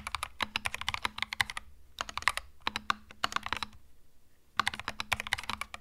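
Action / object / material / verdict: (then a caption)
tap / plastic-keycap mechanical keyboard / plastic / none. Fingertips type on a compact cream mechanical keyboard with plastic keycaps, producing quick runs of sharp, bright clicks and clacks. The typing comes in three bursts separated by short pauses, and each keystroke stops dead with almost no ring and little low end.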